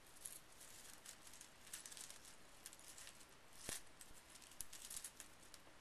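Fingertips rake through a loose pile of small painted metal brads resting on a bamboo mat, and the pieces jingle against each other. Soft, bright clinks and ticks scatter across a quiet, hissy background, with a sharper click standing out near the middle before the light jingling continues.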